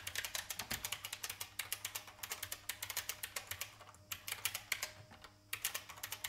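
Fingertips type on a vintage IBM mechanical keyboard with plastic keys, seen close up from the side. About forty quick, bright, clacky keystrokes land in steady runs with short pauses near four and five and a half seconds. Each click is sharp and dies instantly.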